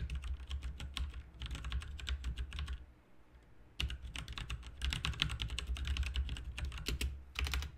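Both hands type rapidly with their fingertips on a full-size RGB mechanical keyboard with plastic keycaps. Bursts of crisp, bright clacking taps are heard over a steady low hum, with a short pause just before the four-second mark. The typing then resumes in dense runs until the end.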